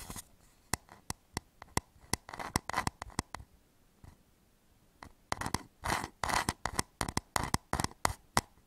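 A medium turned wooden bowl, hollow and held upside down over the microphone, is scratched across its curved outer surface with fingertips and nails. Sharp, dry ticks alternate with longer rasping scrapes, separated by quiet gaps. The sound is bright and papery, centered around 1 kHz with almost no ring after each stroke.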